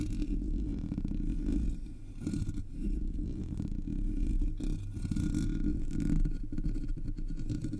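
A single long nail taps and scratches the top of the hollow black metal mesh grille of a Blue Yeti microphone. The sound is a dense, continuous, low, rumbling scrape with quick taps, heavy in the bass with almost no high end, at a steady level.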